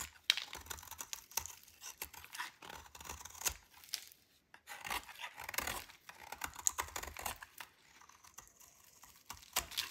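A metal utility knife blade scrapes a hand-sized solid white bar of dry soap held in fingers with long dark nails, curling off crunchy shavings onto a pile on the table. The audio is a rapid series of dry, bright scraping and crunching strokes with crisp crackles and almost no low end, separated by brief quiet pauses.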